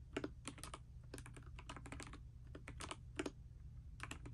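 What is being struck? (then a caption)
Mechanical keyboard with plastic keycaps. A pastel dust silver D84 mechanical keyboard with plastic keycaps, resting on a bedspread, is typed on continuously with fingertips and long nails. Quick, sharp clacks come in uneven bursts over a steady low hum, each click dying away almost at once.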